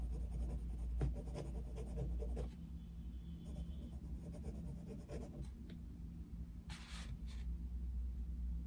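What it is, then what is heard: Paper page scratched by coloured pencil. The tip of a wooden coloured pencil scratches across the thin paper page of an open colouring book, lying flat on a desk, as a picture of Mickey Mouse is coloured in. Short, rapid, soft scratchy strokes sit over a steady low hum, with a few brief bright rasps near the end.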